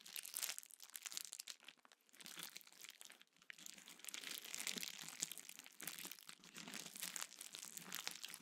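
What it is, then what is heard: Plastic bubble wrap. A small sheet of clear plastic bubble wrap is held in both hands, squeezed and crinkled while bubbles are popped with the fingertips. The result is a quiet, continuous bright crackle with dense, sharp little pops and almost no low end.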